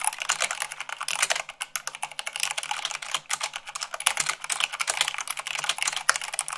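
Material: Plastic.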